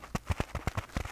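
Eight quick taps on a dish-washing scrubby sponge scourer shaped like a black cat's face give soft, low thuds. Each tap has a faint crinkly, scratchy texture and stops almost at once.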